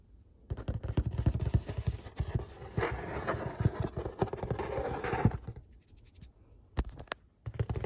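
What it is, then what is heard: Cardboard pizza box. Fingertips and short nails trace and scratch across the printed artwork on the lid of a large, flat corrugated cardboard pizza box resting on a stovetop. Quick, dry scratches and soft taps come in dense bursts, with a low, papery thud under them. The scratching thins to a near stop around the sixth second, then returns with a few sharp strokes at the end.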